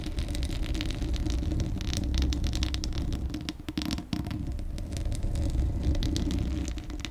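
Long acrylic nails scratch the bare, hollow steel mesh grille of a large condenser microphone while the hands largely cover it. The result is a steady, muffled low rumble with dense, uneven scratching and faint bright crackles on top, briefly dipping near the four-second mark before resuming.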